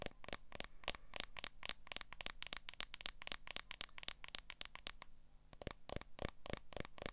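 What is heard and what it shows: Long nails tap and scratch the back of a smartphone in a solid, transparent plastic case. A quick, uneven stream of sharp, bright clicks with very short decay runs over a low background hum, with a brief lull near the five-second mark before the tapping resumes.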